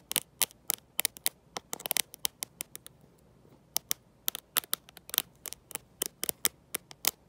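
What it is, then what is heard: Glass-backed smartphone tapped with metal-tipped nails. Long nails fitted with gold metal paper clips tap and scratch the glossy glass back of a black smartphone held in one hand, and the clips may rattle a little themselves. The result is a quick, irregular run of sharp, bright, dry clicks with almost no ring, with a brief pause about halfway through before the tapping picks up again.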